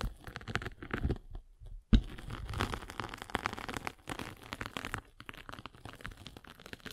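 A derma roller with metal spikes is rolled across a rectangular sanding sponge with a gray grit face and blue foam core, making dense crinkly, crunchy scratching with a low, heavy body. A short quiet gap just before two seconds ends in one sharp, loud crack. After that, the rolling crunches continue in uneven bursts that grow softer toward the end.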